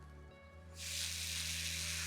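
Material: Nothing is struck.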